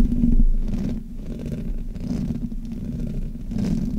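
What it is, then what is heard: Metal microphone grille being rubbed. Both hands rub and scratch the metal mesh grille of a black Blue Yeti USB microphone, a hollow head on a stand, with long fingernails and fingertips. The result is a continuous, heavy low rumble with rough scratchy friction that swells and eases in uneven waves, with almost no brightness.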